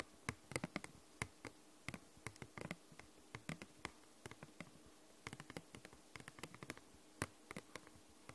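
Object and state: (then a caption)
Hard plastic case tapped with fingernails. Long nails tap slowly and gently on a hollow, glossy purple hard plastic case. About 36 quiet, sharp clicks come in irregular clusters, each dying away almost instantly, over a faint steady hum.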